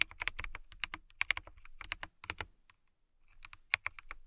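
Long nails type on a transparent acrylic mechanical keyboard with clear keycaps, making about twenty sharp, bright clicks with almost no ring and a tone near 2.4 kHz. The keystrokes come in quick bursts, with a short pause around the middle before the typing resumes.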